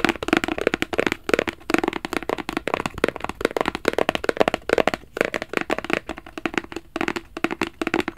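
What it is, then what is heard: Cardboard gift box. A small, hollow black rigid cardboard Versace gift box is held flat in both hands and scratched and tapped with fingertips and nails. Dozens of quick, dry taps and scratches land in a steady, uneven rhythm, each dying almost instantly. They carry a hollow, papery tone centred near 460 Hz with little low end.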